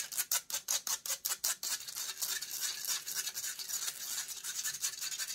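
Long grey nails scratch rapidly across a hollow metal mesh microphone grille. A quick run of separate, sharp strokes gives way to denser, faster continuous scratching. The sound is bright, dry, and rasping, with almost no low end and no ring after each stroke.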